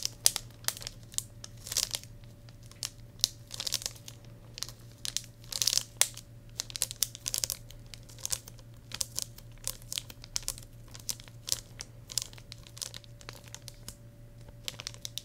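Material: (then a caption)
Plastic film. Fingers crinkle and rub the clear plastic shrink wrap on a cheetah-print hardcover journal held in both hands. Bright, sharp crackles and rustles come in quick bursts and short flurries, with a faint steady low hum underneath.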